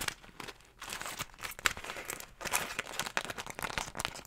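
A single floral beeswax food wrap, a thin, stiff sheet of wax-coated cotton fabric, is crumpled and squeezed in both hands with long nails, held beside the microphone. Dense, bright crinkling and crackling comes in uneven bursts with sharp snaps, with little low end. The sound dips briefly into quiet gaps before swelling again.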